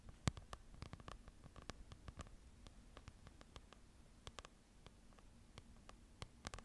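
A small open paper book is held up close to the mic while long nails scratch and tap its printed pages. Quick, sharp, bright taps stand out irregularly over a soft, steady scratching and a low rumbling hum, each tap dying away almost instantly.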